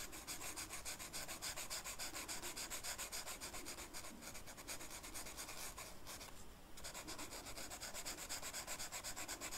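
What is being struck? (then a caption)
Velvet-flocked paper sheet and felt-tip marker. The felt tip of a blue marker is rubbed over a flat black velvet-flocked paper sheet in repeated coloring strokes, making a fast, scratchy rubbing sound with bright hiss, at roughly four strokes per second. The strokes keep a steady level, with a brief lull just past the midpoint before the rubbing resumes.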